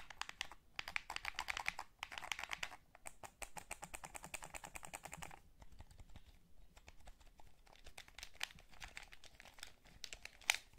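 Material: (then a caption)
Plastic. A hollow blue plastic PS3 DualShock gamepad is held in both hands while fingertips press the buttons and thumbs rub the analog sticks. Quick, dry, bright plastic clicks and taps come in dense bursts, mixed with a scratchy rubbing texture. A sharper click lands near the end.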